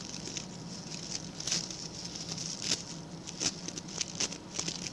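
Fingertips and short nails of both hands scratch and flick the stiff brown bristles of a small round ring-shaped coir (coconut fiber) brush with a pink plastic handle. The result is a steady bright, dry scratching patter, broken by sharper flicks and crackles.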